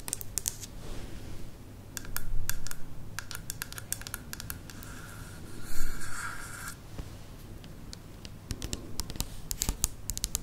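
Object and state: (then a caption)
Plastic spiral lamp. Long nails tap along a tall white plastic lamp shaped as a spiral from a thin curved strip. Light, bright clicks come in uneven bursts, with a couple of louder scratchy stretches as the nails drag along the plastic. A steady low hum runs underneath.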